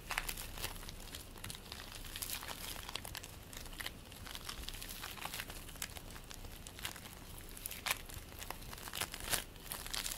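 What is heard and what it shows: Fingers pull apart and squish purple bead play foam made of polystyrene beads, producing dense, bright crackling and crinkling throughout. Sharp, quick pops stand out now and then over the steady crackle, with little low-frequency content.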